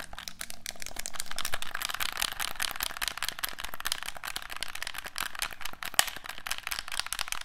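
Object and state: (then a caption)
Plastic game controller. A hollow black plastic handheld game controller is held in both hands while its buttons and sticks are pressed and clicked with the thumbs. A rapid, continuous stream of short, sharp plastic clicks and rattles with a bright, high edge fills the clip, each one dying away almost at once.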